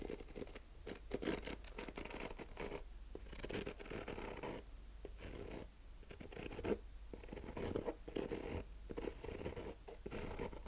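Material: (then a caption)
Nylon fabric. Short nails slowly scratch the black textured nylon fabric covering a rigid, hollow hard-shell sunglasses case. Soft, rasping scratch strokes come in uneven bursts separated by brief pauses, with a warm, hollow mid-range tone and a faint low hum underneath.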